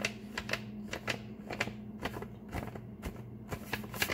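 Fingertips tap quickly and fingernails scratch with both hands on a flat, empty brown kraft paper bag lying on a table. Sharp, bright papery taps and crinkly scratches come in a rapid, uneven series, over a faint steady low hum.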